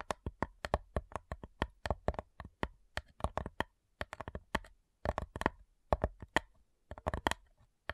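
Long nails tap rapidly and unevenly on the lid of a flat, light, hollow wooden cigar box. Each tap is a short, dry click with a faint low thump beneath it, dying away almost at once. The taps come in quick bursts and irregular runs separated by brief pauses.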